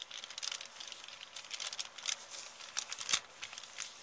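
An empty kraft paper shopping bag with blue print is crinkled and rubbed with long nails and fingertips while being moved. Quiet, bright, papery crinkles and scratchy rustling run throughout, with scattered sharper crackles and one louder snap near the three-second mark.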